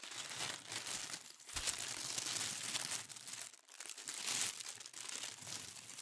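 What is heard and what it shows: A thin sheet of pink tissue paper is bunched and crumpled in both hands, making a dense, bright crinkling and rustling. The crackle runs almost continuously, easing briefly for a moment before picking back up.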